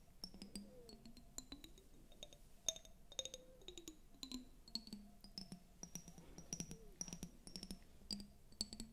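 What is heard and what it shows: Long nails tap and scratch a clear glass tumbler, partly filled with water, right next to the mic. A quick run of sharp clinks leaves short, bright ringing tones, mixed with soft scratchy sweeps and a low rubbing murmur underneath.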